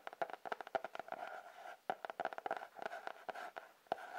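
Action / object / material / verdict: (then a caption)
tap / cardboard-covered sketchbook / cardboard / none. A sketchbook with a cardboard cover is tapped quickly with light, dry taps that die away almost at once. The taps carry a hollow, papery tone around 700 Hz, with no low end. There are uneven bursts and short pauses, and a faint hum runs underneath.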